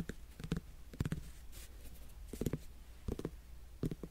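Fingernails scratch and tap the rind of a whole, solid netted melon held close to the microphone. Short, dull, low knocks come in small clusters with scratchy rustles between them, and each tap dies away almost instantly with no ring.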